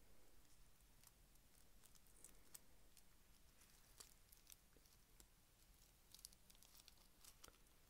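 A small round Christmas tree bauble covered in iridescent white plastic sequins and beads, likely over a solid foam core, is held in the hand and scratched and rubbed with fingertips and short painted nails. The result is quiet, steady crinkly scratching with scattered bright clicks and ticks over a soft low rumble.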